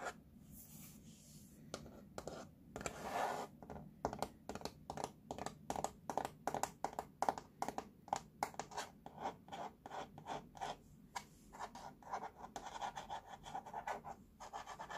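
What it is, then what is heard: Plastic baby walker base, scratched. Fingertips and nails scratch and rub along the curved surface of a large, hollow, teal molded plastic base frame of a baby walker. The result is a quiet, rapid series of short, dry scratching strokes with a light hollow plastic tone around 780 Hz. Each stroke dies away almost instantly.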